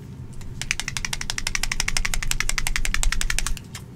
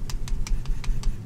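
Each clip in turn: First: Fast, crisp clicking as a dropper bottle is shaken; the mixing ball rattles freely through thin paint. Second: Six soft, muffled shake strokes with no ball clicks at all; the paint inside is thick.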